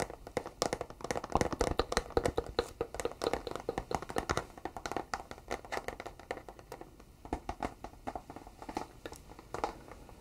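Fingertips and short nails tap quickly along the face and edges of a flat, thin, empty-looking white cardboard product box held upright in both hands. The result is dense, dry, close-sounding taps with a hollow midrange tone and very short decay, busiest in the first half and thinning out later.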